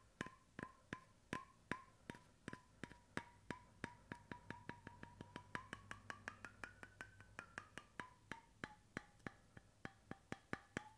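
Fingertips and nails tap the flat end of a light wooden bamboo screw cap on a stainless steel water bottle, held close. About 44 quick, dry, woody taps ring with a hollow tone near 1 kHz. The pitch rises toward 1.5 kHz midway and then drops back, all at a soft level.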